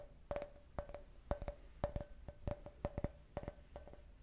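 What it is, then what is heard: Empty glass can-shaped cup. An empty, hollow clear glass cup shaped like a beer can, with a printed logo, is tapped with long red nails. The result is a quick series of short, dry clicks in uneven clusters, each with a brief glassy ring around 600 Hz and a faint bright tick, decaying almost instantly.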